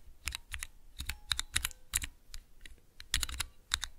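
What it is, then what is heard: Plastic key switch tester. Fingertips rapidly press the keys of a small clear plastic 3x3 Cherry MX mechanical key switch tester. The result is quick, irregular bursts of sharp, bright clicks and clacks, centered around 3.8 kHz, each with a dull low thump underneath. Every press dies away almost instantly.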